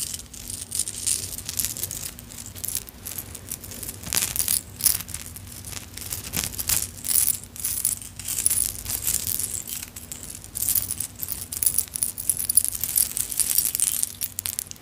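A vintage necklace of small clay charms on a metal chain is dropped and piled into a palm, then handled with long nails so the charms clink and shake together. Dense, bright, rapid clicking and jingling runs throughout, with short louder bursts over a faint low steady hum.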